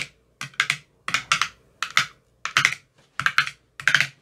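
A metal rod with a white tip taps across the teal silicone cells of an empty clear plastic ice cube tray with silicone cells. The taps come in quick, uneven clusters of two or three short, bright clicks with very little ring, separated by brief silences.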